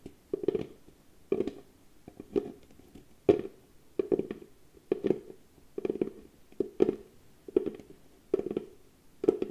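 Long fingernails tap and scratch the lid and side of a small, hollow, cylindrical box of pale wood held in both hands. Clusters of short, dry, hollow knocks with a midrange tone near 400 Hz repeat about once a second, with faint scratchy rustling in between. Each knock dies away almost instantly, with no ringing.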